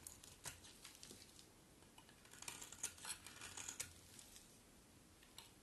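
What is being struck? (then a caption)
Bar of soap scraped with a metal blade. A metal utility blade carves and scrapes a hand-sized, solid bar of dry blue-and-white striped soap held in the hand, breaking it into brittle flakes. The result is a string of crisp, bright scraping crackles and sharp little clicks that stop dead with no ring, over a faint low hiss.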